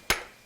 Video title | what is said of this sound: [화면해설방송] 사운드멘터리 풍경소리3 - 보령, 시간의 흔적 | 턱턱턱 이게 소리. 속이 병이 들었다는 거죠.